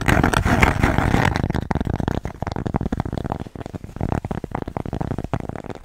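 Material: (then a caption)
Cork. Long nails rapidly tap and scratch a thin, flat, square cork coaster with a red dot, held in the hands. A dense, loud burst of scratching gives way to quick, dull, low-heavy taps with brief scratches between them, each dying away almost at once.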